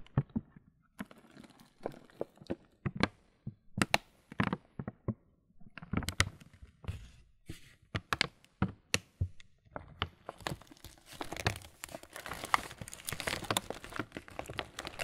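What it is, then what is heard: Plastic cereal bag being crinkled. A full, printed laminated plastic Kellogg's muesli bag is crinkled and squeezed with fingers and thumbs. Sharp, crisp crackles and crunches come in short separate bursts at first. After about ten seconds they thicken into a dense, continuous bright rustle.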